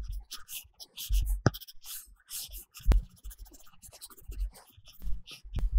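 A plastic stylus tip makes short strokes and taps on a large iPad glass screen covered with a matte paper-texture film, coloring in small areas. Soft scratchy rubbing alternates with quick dull taps that carry a low thump and die away almost instantly, with a faint bright grainy edge on the strokes.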